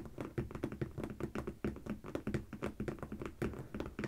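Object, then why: Corrugated cardboard box. Fingertips and long painted fingernails of both hands tap rapidly across the sticker-covered top of a medium, closed, hollow corrugated cardboard shipping box, possibly holding packed products. The result is a steady stream of soft, dull, hollow thuds with a low boxy resonance and faint nail clicks, each dying away almost at once with little high-end brightness.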